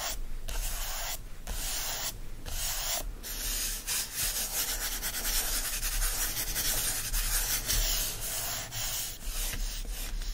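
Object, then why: Hardcover book paper endpaper. Fingers and nails rub and scratch the green patterned paper endpaper of an open hardcover book. The result is a steady, dry, bright scratching hiss with a low rumble underneath, broken by a few brief pauses between strokes.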